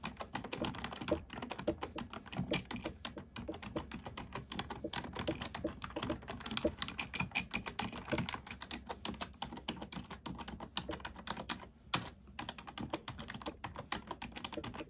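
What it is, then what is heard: Plastic computer keyboard being typed on. A black plastic computer keyboard with hollow keys is typed rapidly by the fingertips and long nails of both hands. The result is a dense, continuous stream of short, bright, clicky taps with a slightly hollow low body, pausing briefly near the twelve-second mark before resuming.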